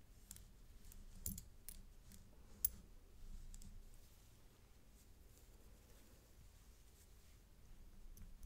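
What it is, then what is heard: Metal chain necklace with coin pendant. A thin gold-tone metal paperclip-link chain necklace with a toggle clasp and a round coin pendant, lying on black cloth, has its pendant and clasp tapped with a stick and a brush handle. Soft, sparse clicks with bright, very short metallic ticks sit over a quiet low rumble, with each tap dying away almost instantly.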